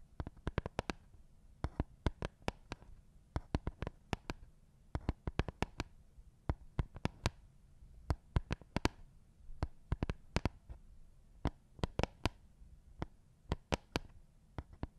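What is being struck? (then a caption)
Plastic Lego baseplate. Fingertips tap and scratch over the studs of a thin, flat, green studded plastic Lego baseplate held upright in front of a microphone. Dozens of sharp, bright clicks that die away instantly come in irregular bursts over a soft, low rumbling background. The tapping stays quiet and gentle throughout.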